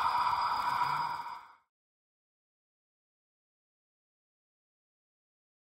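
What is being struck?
Nothing is struck.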